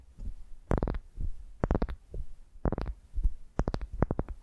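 Long nails scratch a solid pale wooden ball resting on the microphone, giving repeated short bursts of close, scratchy friction. Each stroke is dominated by a low, muffled rumble, with brief crackly streaks reaching into the high range. Quiet pauses separate the strokes.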